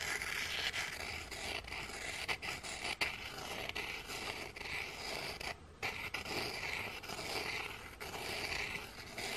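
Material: Baked biscuit.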